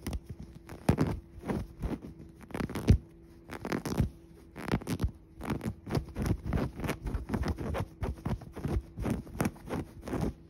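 Fingers scratch and rub a soft padded cushion covered in dark woven fabric upholstery with a tan piping seam. A steady run of short, soft scratching and rubbing strokes comes in quick bursts with brief pauses, dull and mostly low with little brightness.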